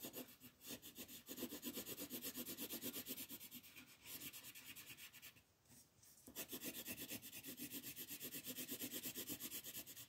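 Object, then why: Colored pencil on a paper page. A green colored pencil rubs across a thin white coloring book page lying flat, shading grass in fast sweeping strokes. It makes a steady train of quick, bright, scratchy rasps, about three per second, each fading almost at once. The strokes ease into a brief near-silent pause around the middle before resuming at full pace.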